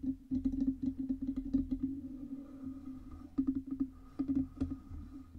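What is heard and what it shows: Long red nails tap rapidly on the sides and stand of a black Blue Yeti USB microphone, which has a hollow metal body. The quick, clicky taps come in bursts with short pauses. Each tap briefly rings with a hollow, resonant hum that fades almost at once.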